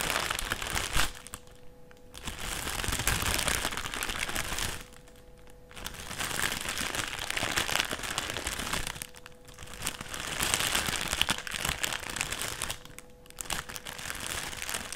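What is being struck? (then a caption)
Thin clear plastic sheet. Fingertips press, rub and crinkle a thin, flat, empty clear plastic sheet or bag lying on a white table. Dense, bright crinkling and crackling fills the clip, broken by a few short, quieter pauses where a faint steady low hum remains.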